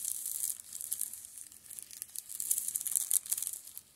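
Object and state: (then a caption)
Shrink-wrapped paperback books. Fingertips tap and scratch across the plastic-covered spines of a row of shrink-wrapped Steel Ball Run (JoJo's) manga paperbacks on a table. The result is a dense run of quick, bright crinkling and scratchy ticks with almost no low end, rising and falling in short bursts throughout.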